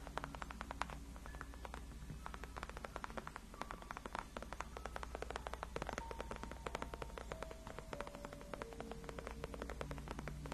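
Long acrylic nails scratch and tap along the top and sides of a large white padded faux-leather (PU) gaming chair backrest, solid and cushioned. Many quick, dry clicks and light scratches run steadily and quietly over a constant low hum, with faint thin tones drifting around 1 kHz.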